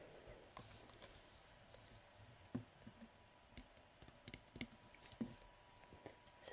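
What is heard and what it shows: Fingertips and nails twist the black cap of a hollow translucent plastic nail polish remover bottle with liquid inside, then tap and scratch its labelled side. Quiet, irregular short clicks and light taps rise above a soft, steady background, each dying away almost at once.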